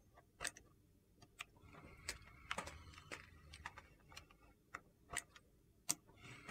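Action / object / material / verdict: scrape / solid soap slab and vegetable peeler / soap / none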